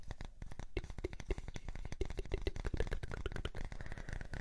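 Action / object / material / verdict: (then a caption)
scrape / small wooden disc / wood / none. A light, solid, palm-sized round wooden disc is held in the hands and scratched and tapped with fingertips and nails. A rapid, steady stream of short, dull taps and scratchy rubbing follows, heavy in low tones, with each tap dying away almost instantly.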